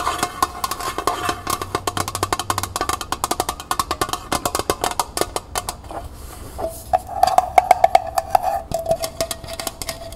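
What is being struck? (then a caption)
Small thin metal pail. Long painted nails tap rapidly on the sides and base of a small, hollow, empty copper-finish metal pail with a wire handle while it is held. The taps are quick, dry clicks that die out almost instantly. Toward the end, the pail gives a brief metallic ring around 730 Hz.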